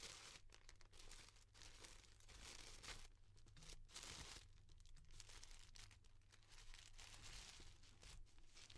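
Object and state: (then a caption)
Tissue paper pom-pom flower. Fingers and nails fluff and rub the thin petals of a finished, round, head-sized yellow tissue paper pom-pom flower, making a quiet, continuous stream of soft crinkling and rustling. Bright, papery texture rises and falls over a steady low hum.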